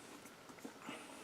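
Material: Nothing is struck.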